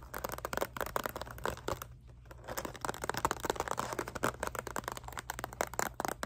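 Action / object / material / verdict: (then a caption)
tap / clear plastic box / plastic / none. Long nails tap and scratch the hard surface of a rectangular clear plastic box with a purple item inside, held in both hands. Rapid, dry clicks and crinkly scrapes come in dense bursts with a brief lull around two seconds. The sound is bright and close over a faint steady low hum.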